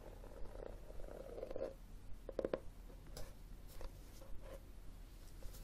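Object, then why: Cloth-covered hardcover book. Fingertips and nails tap and scratch the front cover of a solid, red textured cloth hardcover book held on a wooden table. Soft, muffled taps and light scratching strokes arrive at an irregular pace, each one short and dry with a faint tone around 500 Hz, all over a steady low hum.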